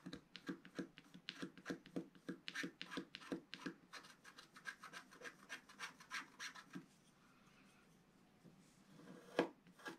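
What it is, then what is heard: Wax-coated scratch art paper. A wooden stylus scratches the black coating at the lower right edge of a flat sheet of wax-coated scratch art paper. It makes a steady run of short, raspy scratching strokes with bright edges. The strokes stop at about 7 seconds, then near-silence follows, broken by one sharper scrape near the end.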